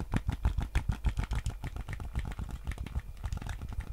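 A white PS5 DualSense controller with a hollow hard plastic shell is held in both hands while fingertips tap its touchpad and shell. Quick, dull, low-pitched thumps come at a loose, uneven pace of a few per second, each dying away almost instantly.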